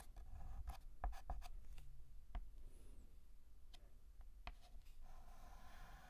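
A hand fills in a letter on a large, flat, painted black chalkboard with a stick of white chalk, making quick ticking short strokes. Soft, irregular scratches and taps land in a rapid, uneven rhythm, each dying away almost instantly. The sound is quiet and dry, with most of its weight in the low range.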